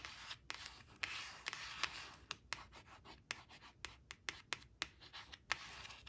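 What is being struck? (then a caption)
Coated paper card on cloth. Long acrylic nails trace and scratch the printed letters of the word "white" on a thin coated paper flash card lying flat on woven cloth. A quiet, bright, papery scratching hiss runs throughout, broken by many short, sharp nail clicks that stop almost instantly.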